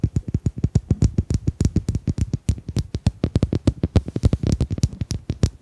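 Domino tiles are tapped in a quick, uneven series of about 40 short taps. Each tap is a dry, low, thudding click with a brief bright tick on top and almost no ring.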